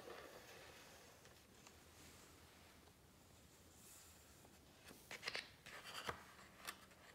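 Fingertips rub softly along the edges of glossy coated paper pages in a large open hardcover book, giving a quiet, steady brushing hiss. Near the end, as a page is lifted, the paper starts to crinkle, with several sharp, bright crackles and taps.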